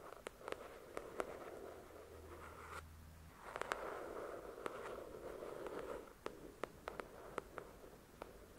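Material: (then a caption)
Paper. Long acrylic nails tap and scratch the glossy card cover of a thick paperback novel. Sharp, bright clicks are scattered among soft papery scraping that swells and fades, with a faint low hum partway through. The sound is quiet and close.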